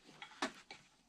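Three light taps on a carbon fiber composite landing gear sitting in its mold during demolding, the middle tap the loudest. The short, bright ticks have a changing tone, showing the part coming loose from the mold, and it then shows no pin holes.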